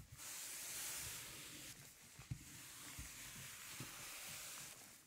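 A gloved hand rubs a record cleaning brush over the grooves of a 12-inch black PVC vinyl LP with a light blue label, a thin solid plastic disc lying flat on a velvet tablecloth. A steady, bright, airy hiss of bristles sweeping the surface runs throughout, with occasional soft low thumps and small ticks. The hiss fades slightly near the end.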